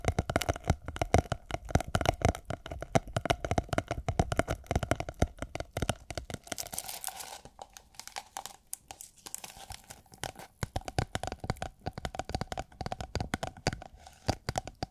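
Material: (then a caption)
Plastic film. Long nails tap and scratch a rolled tube of iridescent holographic plastic film, making it crinkle. Rapid, crisp clicks and crackly rustling run throughout, thin out into softer scratching around the middle, then pick back up into dense tapping.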